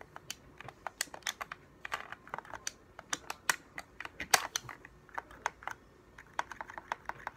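A hollow, translucent blue and white plastic game controller is held in both hands while thumbs press and click its buttons and sticks and fingertips tap the shell. About 23 quick, dry, bright clicks and taps sound in an irregular rhythm, each dying away almost instantly with almost no low end. The overall level stays quiet.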